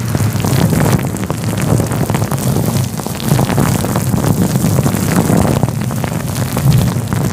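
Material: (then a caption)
Synthetic fur. Fingertips rub a fluffy grey-white synthetic fur windscreen covering a microphone, producing a steady, dense rustling rumble. Most of the energy sits in a deep, muffled low end, with faint scratchy crackles above it and gentle swells in loudness throughout.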